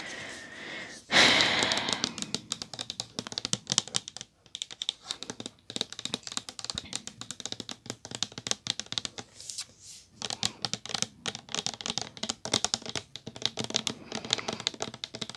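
An orange, opaque, medium-sized Method body wash bottle made of plastic, hollow and apparently full, is tapped with long gel-polished nails. After a soft hum and a sharp onset, the clip is a fast run of crisp, bright clicking taps with almost no ring and no deep tone.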